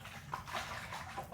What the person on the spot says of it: there's water in here can you hear it sloshing